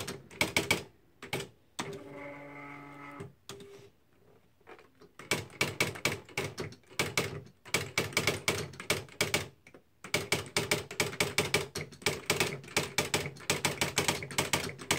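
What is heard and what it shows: Fingertips type quickly on the plastic keys of a beige Smith-Corona Mark V electric typewriter with a hollow plastic housing, producing bright, clacky strikes in rapid bursts. A brief steady humming tone sounds early on, and short pauses break up the otherwise continuous typing.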